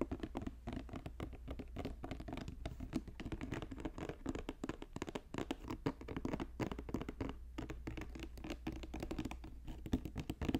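Fast fingertip tapping on a woven basket produces a dense, continuous patter of short, dry clicks with a low, hollow body and almost no ring. The taps blur together too quickly to count, forming a steady scratchy texture throughout.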